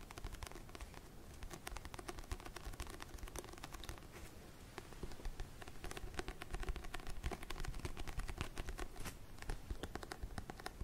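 Fingernails tap and scratch the matte cream back cover of a paperback book held upright. The clip is quiet, with rapid, dry, closely spaced taps and scratchy bursts that stop at once with no ring, over a low rumble. The tapping grows a little louder and busier in the second half.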